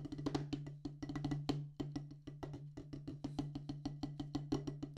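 Two wooden drumsticks tap a solid black rubber practice pad on a wooden base, about thirty quick taps in an uneven, rolling rhythm. Each tap is short and dull with a woody knock and a low body, fading almost instantly over a steady low hum.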